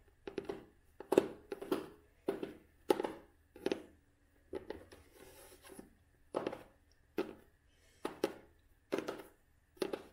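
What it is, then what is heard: Cloth-bound hardcover book. Long nails tap and scratch the cloth cover and red spine of a closed vintage cloth-bound hardcover book. Dry, soft taps come in quick clusters, with a brief scratching stretch in the middle. Each tap has a muted low-mid body and a faint, very short ring.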